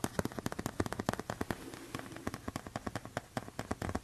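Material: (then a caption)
Tempered glass. A thin, flat tempered glass phone screen protector is held up and tapped with fingertips and nails. The result is a rapid, irregular stream of short, sharp clicks and taps with a bright, crisp edge and almost no ring, over a faint low rustle between strikes.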